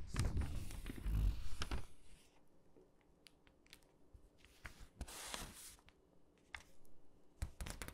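Fingertips squeeze the page edges of an open glossy paper catalog, rub across the pages and turn them. A loud crinkling rustle with low thumps fills the first two seconds, then quiets to soft paper brushing broken by sharp, bright ticks. A brief swell of rustling comes mid-clip before more scattered clicks.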